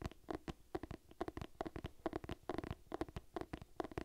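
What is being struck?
Cloth-bound hardcover book.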